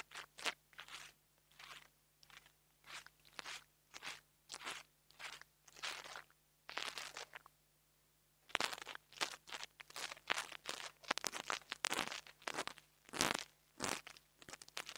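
A metal nail-tool tip taps and scratches the metal grille of a small black plastic mini lavalier microphone. It makes a run of crisp, crunchy, bright scraping bursts over a faint steady low hum. The bursts pause briefly just past the midpoint, then return faster and denser.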